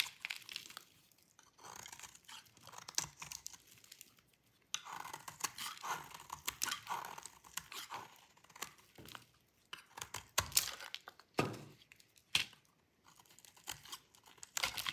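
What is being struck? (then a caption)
Bar of soap shaved with a blade. A solid bar of dry light-blue soap is held in the hand and shaved with a metal utility blade, and brittle chips break off. Quiet, bright, crisp scraping and crunching rasps come in short bursts separated by brief pauses, with a few sharper, louder snaps toward the end.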